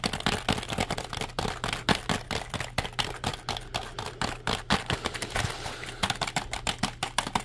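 A compact black plastic computer keyboard, held upright in the hands, is tapped rapidly with the fingertips. The result is a fast, uneven run of about 39 short, dry clicks with bright attacks and almost no ring, over a steady low hum.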